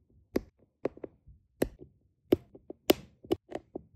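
A plastic drill pen with a metal tip taps small, solid, round resin diamond painting drills down onto a flat adhesive canvas. The result is a series of quick, dry, irregular clicks that are crisp and bright at the edge, with a low-mid body and no ring between taps.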